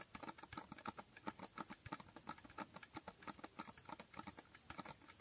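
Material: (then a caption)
Cardboard. Fingernails tap quickly on the faces of a small, hollow cardboard box with a holographic foil finish. The result is a steady patter of crisp, dry, hollow clicks centred around 900 Hz, each dying away almost at once, over a quiet background.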